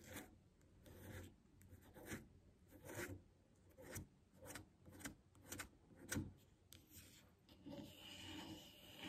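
Long nails scratch and tap a medium glass jar full of white body butter, with a bamboo lid and paper label, while it is held in the hand and set on a table. Repeated short, raspy scratching bursts with soft, dull taps beneath them rise and fall over a quiet background, and a faint high hiss continues toward the end.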